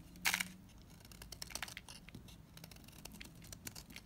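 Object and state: Bar soap scraped with a knife.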